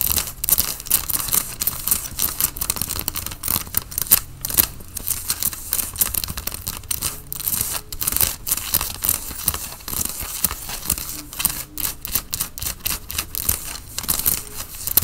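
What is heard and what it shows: Fingernails scratch the chest area of a worn grey Nike cotton fleece sweatshirt. Dense, bright, rasping scrapes come in quick back-and-forth strokes over a soft low rumble, with no ring after each stroke.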